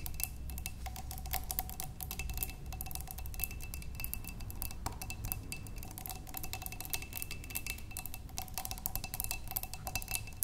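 Both hands rapidly tap long nails on a large clear glass vase, partly filled with water and holding stems, that rests on a wooden table. The result is a dense, continuous stream of short, bright clicks with almost no ring, over a faint steady glassy tone and a low background rumble.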